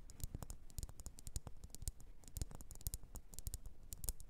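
Long orange nails tap and scratch the faceted sides of a solid red, hand-sized wax pillar candle. Quick, quiet taps land in a busy, uneven rhythm, each a dull low thump with a brief bright click that dies away almost instantly, with faint scratchy rustling between them.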